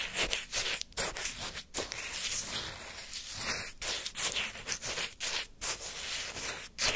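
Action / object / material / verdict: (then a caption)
scrape / frozen orange sherbet in a paper cup, wooden stick / shaved ice / none. A wooden ice-cream stick held in the fingers scrapes and digs through a small paper cup full of frozen orange shaved-ice sherbet with a crushed-ice texture, lifting out chunks. The result is a series of bright, crunchy, gritty scraping strokes with brief pauses between them, dominated by high frequencies with almost no low end.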